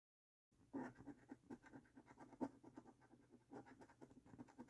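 After a brief silence, a coin scratches the latex coating off a thin, flat paper lottery scratch card in a quick series of short, dry scrapes. The sound is quiet, mid-pitched and papery, with each stroke stopping almost at once and no ringing.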